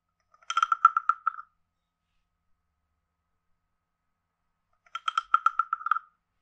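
A wooden stick taps and scrapes the ridged back of a hand-sized, carved, hollow wooden frog guiro. Two short bursts of rapid, dry wooden clicks around a hollow tone near 1.3 kHz each give a croaking rattle with a quiet pause between them. Each click stops almost instantly, with no low end.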